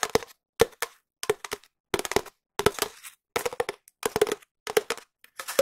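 A long, empty, hollow cardboard tube, held in both hands, is tapped with long nails and fingertips in short bursts of quick, dry taps separated by brief silences. Each tap has a hollow mid-pitched resonance around 460 Hz with a crisp, bright click on top and almost no ring.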